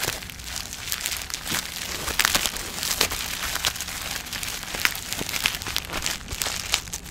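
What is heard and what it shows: A small plastic bubble-wrap package with a skincare item inside is held in both hands close to the microphone while long nails and fingertips squeeze and crinkle it. The result is continuous, bright, high-pitched crinkling, scattered with sharp crackles and snaps throughout.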